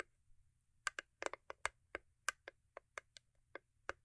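Long acrylic nails tap and scratch the top of a small, hollow cube gift box made of cardboard covered in holographic paper. Fourteen short, dry, hollow clicks come in an irregular rhythm, each dying away almost instantly, with a bright edge over a quiet background.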